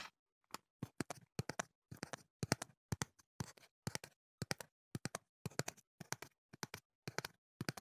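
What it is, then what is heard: Cardboard box tapped. A slim, hollow, hand-sized teal printed cardboard earplug box, held in one hand next to the microphone, is tapped and handled with the fingertips. Quick clusters of short, dry, hollow taps come in irregular bursts with silence between them, each tap dying away almost instantly.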